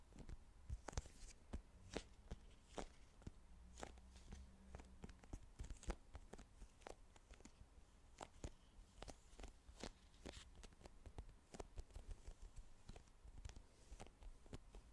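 Long nails tap a small plastic cosmetic squeeze tube with a green cap, held sideways, striking both the tube and the cap. A steady stream of quick, dry plastic clicks and ticks rings out, each dying away almost instantly, over a low, quiet hum.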